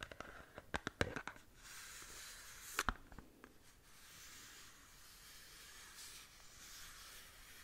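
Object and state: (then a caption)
Cardboard box scratched with nails. Long nails scratch along the side of a small upright cardboard skincare box. Two bursts of sharp, dry clicks and taps stand out over a soft, steady, bright scratching hiss. The result is quiet and close, with no ringing after each click.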